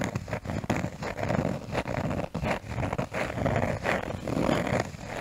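A cork surface is tapped and scratched close to the microphone. The sound is a soft, dull, mostly low-to-mid scratching texture broken by brief gaps between strokes, with little high-end brightness.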